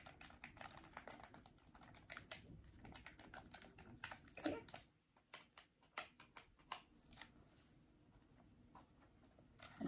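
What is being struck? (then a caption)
Plastic game controller. A small white hollow plastic game controller is held in both hands while its shell and buttons are tapped and clicked with long nails and fingertips. Dense, rapid, crisp plastic clicks and taps fill the first half, then thin out into sparser, isolated clicks over a quiet background.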